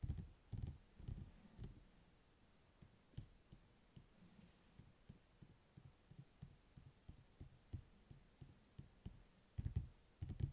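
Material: Paper, card.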